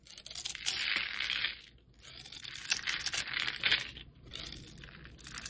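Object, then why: Bar of soap scraped with a metal blade. A metal utility blade scrapes the surface of a solid red oval soap bar held in the hand, shaving off flakes that fall away. The scraping comes as bright, crisp, crackling strokes with short pauses between passes. There is almost no low end.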